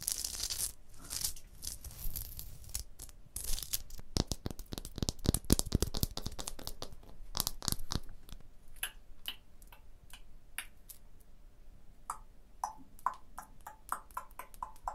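Fingertips and long blue nails scratch along the mortar joint and across the surface of a rough, textured stone block wall, and tap on it. The first half is dense, gritty, tearing-like scraping with bright hiss and low rumble. It then gives way to a run of short, sharp, clicky taps with a quick dry decay.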